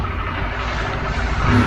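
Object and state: Nothing is struck.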